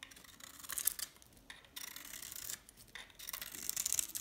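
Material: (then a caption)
Soap. A metal scraper blade shaves the surface of a dry, hand-held, solid brown stamped DALAN soap bar with a green interior. It makes quiet, bright, crisp scraping strokes, separated by short pauses. The sound is almost entirely high-pitched, with virtually no low end.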